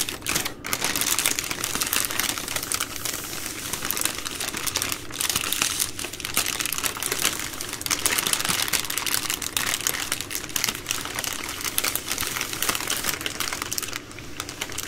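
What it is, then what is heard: Plastic-wrapped wipes multipack. Long green nails tap and scratch the soft plastic film of a plastic-wrapped baby wipes multipack, a bundle of three full packs resting on a wooden table. The result is a steady, bright stream of rapid crinkling, crackling taps and scratches with little low end.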